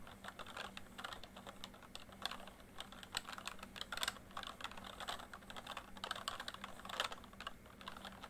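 Fingertips type steadily on a full-size plastic MSI backlit membrane keyboard, producing a fast stream of short, bright key taps with a few louder strikes. A faint steady hum runs underneath.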